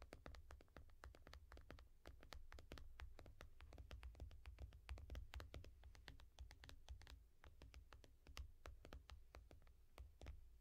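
Long nails tap and scratch rapidly across the glass screen of a small tablet in a yellow foam case, making dozens of crisp, bright clicks mixed with faint scraping. A steady low hum runs underneath the quiet tapping throughout.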